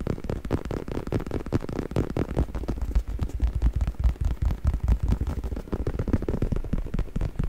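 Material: Faux leather.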